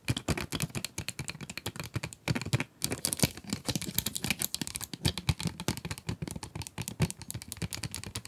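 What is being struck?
Cardboard pencil box with clear plastic window, full of pencils.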